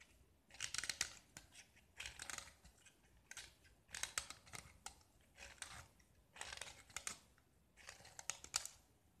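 A small solid gypsum tile painted with red and white stripes is held in the hand and scraped with a metal utility knife, peeling off chalky shavings. About seven short, bright, gritty scraping strokes come with quiet pauses between them, each a dry crunchy rasp with little low end.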